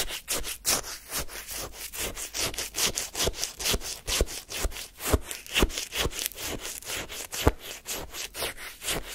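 A wooden spoon scrapes and lifts icy lemon shaved-ice sorbet from a paper cup held in the hand. About two dozen quick, uneven, crunchy scrapes follow one another over nine seconds, each a bright, gritty burst of rough icy texture with a little low thump.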